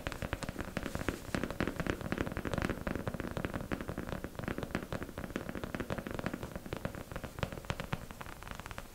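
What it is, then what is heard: Plastic mannequin head tapped with fingernails. Long acrylic nails tap rapidly on the top and temples of a beige, matte mannequin head, likely hollow plastic, that is being held up. The dense, crackling patter of short, dull knocks sits mostly in the low range with only a little brightness. Each tap dies away almost at once, and the pace stays steady for the whole clip.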